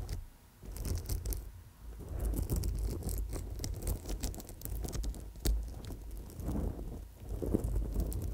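Long nails gently scratch and tap small purple amethyst chips strung on a gold-tone coiled wire bracelet. The result is a soft, continuous patter of tiny clicks and scrapes with bright ticking over a low rumble.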